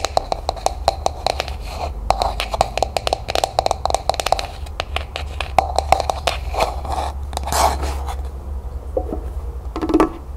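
Long nails rapidly tap and scratch a small, hollow, matte pink plastic cup that is held and then set upside down. Quick, sharp clicks with a hollow tone near 750 Hz mix with bright scraping over a steady low hum. The taps thin out toward the end.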